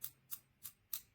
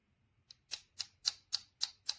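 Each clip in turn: First: anodized aluminum camera clip body, metal. Second: plastic camera clip back plate.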